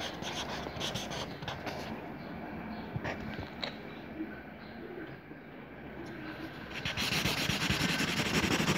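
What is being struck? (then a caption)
Felt-tip marker on a lined paper notebook page. A teal felt marker scribbles zigzag rays around a circle on a lined paper notebook page, making quick rubbing strokes across the paper. The result is a steady, scratchy friction sound in rapid repeated strokes, turning louder and brighter over the last couple of seconds.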